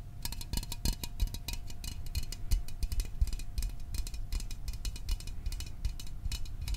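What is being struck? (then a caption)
Small aluminum soda can. A small printed aluminum Fanta soda can is held in both hands close to the microphone while fingertips and nails tap its body. Rapid, irregular taps give short, dry knocks with a low hollow thump and bright metallic clicks, over a faint steady tone.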